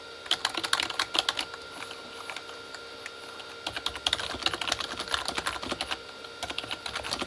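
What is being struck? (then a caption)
Plastic keyboard with plastic keycaps. Both hands type with the fingertips on a full-size, hollow Corsair K35 backlit mechanical keyboard with plastic keycaps on a plastic body. Bright, crisp plastic taps come in quick bursts that die away almost instantly, ease off briefly in the middle, then pick up again in a denser run to the end.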